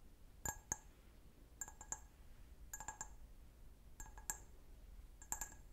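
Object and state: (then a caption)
Glass wine glass. Fingernails tap and scratch the foot of an empty, clear, medium-size hollow stemmed wine glass. Quiet, sharp, bright clinks come in five short clusters, each with brief glassy ringing overtones that die away almost at once over a soft background hiss.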